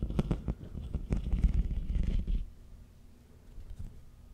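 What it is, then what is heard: Plastic corrugated tube scratched. Fingernails scratch along the ribs of a long, hollow, empty pink ribbed plastic corrugated tube held diagonally. The result is a deep, rumbling, ratcheting scrape of quick, uneven ticks for about two and a half seconds, then it drops to a faint, quieter rustle.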